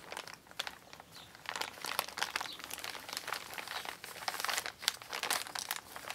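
An empty, flat brown recycled kraft-paper Amazon mailer bag with a barcode sticker and handwriting lies on a table while hands with long pink nails press, rub and crinkle it. The result is a steady stream of dry, bright paper crinkles and crunches with sharp, quickly fading peaks and almost no low end.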